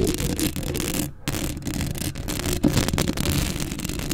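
Long acrylic nails scratch across a black metal mesh microphone grille, producing a dense, continuous rasping scrape with heavy low rumble and a thin bright hiss. The scratching pauses briefly just after the first second, then resumes at a steady level, swelling slightly louder in the second half.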